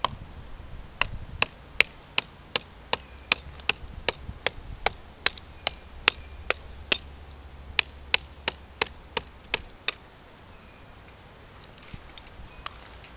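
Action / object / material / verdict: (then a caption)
strike / living oak tree trunk / wood / none. A hatchet chops repeatedly into the rough bark of a large, solid, living oak trunk marked with an orange flagging ribbon, while the other hand rests flat on the trunk, hunting for oak wilt pressure pads. About 26 sharp, bright, dry chops with no ring come in a loosely steady rhythm over a low background rumble. They stop near the ten-second mark, followed by a few faint taps.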